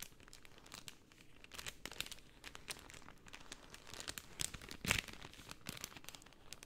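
A layered pink cellophane sheet is bent and crinkled with both hands, which have long painted nails. Soft, dense, bright crackles and crinkles run steadily throughout at a quiet level, with one sharper, louder crunch just before the five-second mark.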